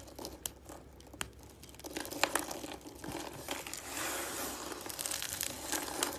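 Shredded strands of dry green soap are squeezed and crushed between both hands. The result is a dense, bright crinkling crunch, with sharp crackling snaps over a steady rustle and very little low end.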